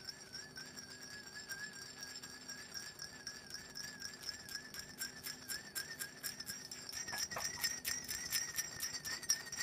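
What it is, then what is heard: Glass perfume bottle with rough coating. Long nails scratch quickly across the rough, glitter-coated surface of a small black glass perfume bottle, held in hand and partly filled with orange liquid. The result is a rapid run of bright, crisp scratches over a faint, wavering tone near 1.6 kHz, growing slightly louder toward the end.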